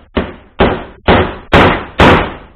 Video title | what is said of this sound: Instructional video - remove and replace wheel bearings on an EVO Scooter | you'll hear that solid sound when it's reached its bottom